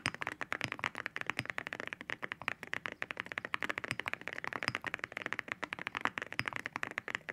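Both hands type with their fingertips on a white mechanical keyboard fitted with ceramic keycaps. The result is a rapid, continuous stream of sharp, bright clacks that die away almost instantly, with little low end.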